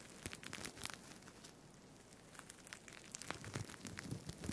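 Fingers scratch and rub the plastic sequins of a green sequined fabric tie held close to the microphone. The result is a dense, crinkly crackle of quick bright clicks over a low rustling rumble that swells louder toward the end.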